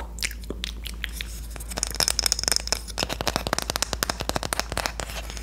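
A Korean wooden spoon is tapped and scratched. Quick, dry, bright clicks and crackly scratches come in dense bursts over a low steady hum, and each tap dies away almost at once.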